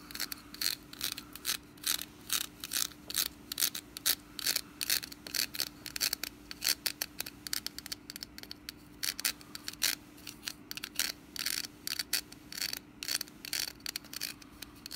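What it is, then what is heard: Woven wicker basket lid. Long nails scratch along the woven rim of a hollow, orange woven wicker pumpkin lid held in the hand. Quick, irregular bursts of dry, bright scratching with almost no ring follow one another throughout, over a faint steady low hum.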